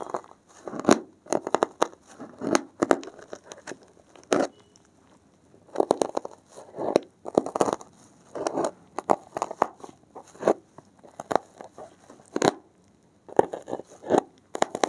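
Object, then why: Foam block. Blue-gloved fingertips press and rub along the top edge of a thick, solid, porous block of dark grey foam, then a thin metal needle pokes into it. Short, dry, crunchy crackles come in bursts with quiet gaps between them, mostly in the mids with little deep low end.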